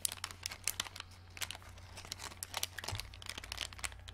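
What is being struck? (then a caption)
Clear plastic packet full of small plastic stars. A small, flat, clear plastic packet with a printed card, full of pale green plastic glow-in-the-dark stars, is held in both hands and squeezed and crinkled with fingertips and long dark-painted nails. Quiet, bright crinkling and crackling come in rapid, uneven bursts with no ring, over a faint steady low hum.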